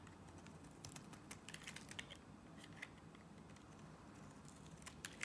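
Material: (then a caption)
Soap. A box-cutter blade scrapes and slices strips from a solid blue Nivea soap bar, making a quiet string of short, crisp, bright ticks and scratches over a low, steady background hum. The sharp clicks come at irregular intervals, each dying away almost instantly.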